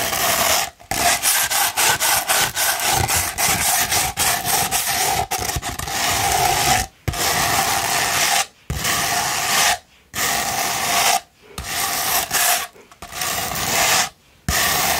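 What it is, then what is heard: Sandpaper scratched with fingernails. A sheet of sandpaper rolled into a hollow tube is scratched with long pointed nails. It makes dry, gritty, broadband rasping strokes with a bright hiss and a faint hollow tone. The strokes run in uneven bursts broken by several short pauses.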